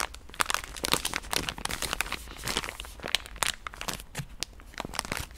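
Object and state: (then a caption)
Soft plastic wet-wipes pack. A pink soft plastic wet-wipe pouch is tapped and scratched with long nails. The result is a dense run of quick, dry crinkles and sharp clicks, bright and high with almost no ring after each touch.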